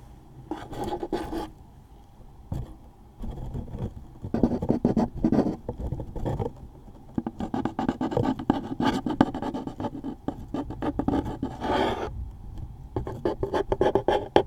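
A wooden toothpick scratches the top label area of a closed, medium-size, hollow cardboard tissue box. It makes dry, rasping scratches in uneven bursts and strokes, with quieter pauses between. The tone is a hollow mid-range rasp with very little high-end brightness.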